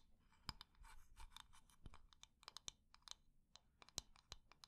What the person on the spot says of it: textured surface scratching, quick and medium tapping, wood-on-wood lid sounds